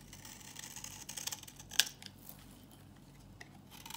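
A metal box-cutter blade repeatedly shaves a solid, dry, old yellow bar of soap held in the palm. Quiet, crisp, bright scraping and short clicking cuts with almost no low end and no ring, with one sharper, louder snap partway through.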